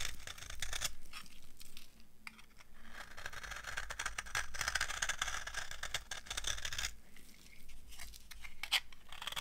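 A solid, dry yellow soap bar is scraped along its edge with a metal knife. The result is a dense, crunchy, bright scraping that runs almost continuously, thickest in the middle of the clip, with a few short quieter pauses between strokes.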